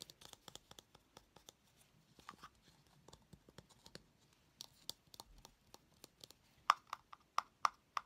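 A small, hollow blue plastic cylinder container with a lid is held in one hand while fingernails tap and scratch its top. About 26 short, crisp clicks sound at an uneven pace over soft scratching, with the last few taps louder and carrying a bright tone around 1.2 kHz.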